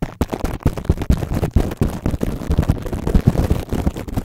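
Fingertips of both hands scratch, tap and cup clear plastic cling wrap stretched over the metal mesh grille of a large microphone. The result is a dense, uneven stream of rapid, deep, booming thumps with crinkly scratching layered over them, heavy in the low end and without pause.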